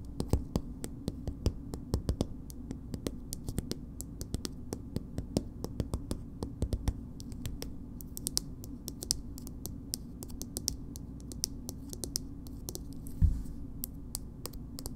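Long nails tap a small, soft plastic BB cream tube with a purple cap, making a steady stream of quick, dry clicks with bright edges that die away almost instantly. A low, constant hum sits underneath, and one tap near the end lands noticeably harder than the rest.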